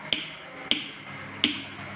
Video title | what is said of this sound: 4 Februari 2021 | Coba kita pukul bunyinya lemah